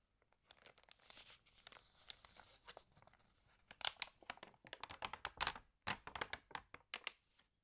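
Long-nailed fingertips rub and turn the pages of an open, water-damaged glossy-paper magazine. Soft, bright papery rustles build into a rapid run of sharp crinkles and crackles that grow louder and more distinct in the second half, with almost no low end.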